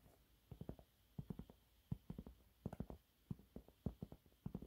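Fast fingernail scratching with both hands on a thin, flat, yellow textured cellulose sponge cloth. It makes quiet, dull scratchy bursts that come in quick clusters across the clip, with low, muffled body and little high-end.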